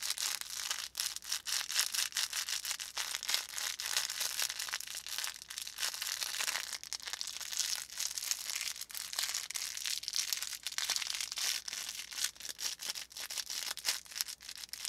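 A small handheld stuffed plush volcano, a hollow brown felt cone with orange felt "lava" and a white faux fur plume on top, has crinkly filling and is squeezed and rubbed with fingertips. The result is a dense, continuous crinkling and rustling, bright and hissy with almost no low end, made of rapid overlapping crackles that pulse with each squeeze for the whole clip.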